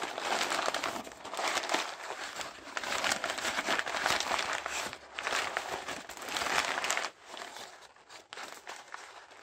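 Hands in white knit gloves with blue dots crumple and crinkle loose sheets of thin brown-grey kraft packing paper inside a cardboard box. A dense, continuous papery crackle rises and falls in overlapping bursts, with most energy in the mids and bright highs and almost no low end. The rustling thins out and softens over the last couple of seconds.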